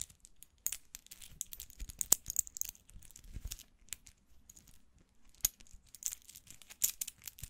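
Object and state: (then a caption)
Metal watch bracelet. Fingers rattle, bend and rub the small solid links of a gold-tone metal watch bracelet. The result is quiet, close-up, bright metallic clinks and crinkly rustling, with scattered sharp ticks that stop almost instantly and little low end.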